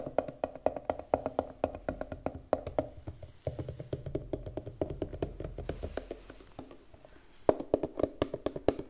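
A rounded, glasses-case-sized turquoise hard plastic case, hollow and closed, is held above a wooden table and tapped rapidly with long red nails. The taps are quick, dry, hollow clicks with a mid-pitched knock that dies away at once. They come in uneven bursts, softer through the middle and sharper again near the end.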